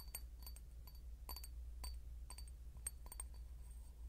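A clear glass bottle is knocked with a quick, irregular run of light taps. Each tap gives a short, bright clink with high glassy overtones that fade almost at once, over a steady low hum.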